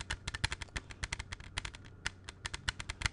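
A closed plastic CD jewel case is held in both hands and tapped quickly with the fingertips. About twenty crisp, bright clicks come in an uneven rapid patter, each with a faint low thump and almost no ring.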